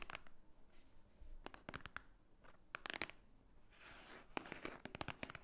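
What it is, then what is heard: Thick paper book. Long painted nails tap and scratch the top cover of a large, thick, white-edged book, a solid stack of paper lying flat on a wooden table. A quiet, irregular run of sharp, dry clicks dies away at once, broken by soft, bright scratching hiss.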